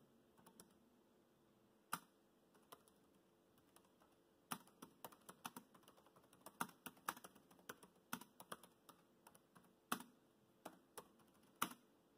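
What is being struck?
Plastic laptop keyboard keys.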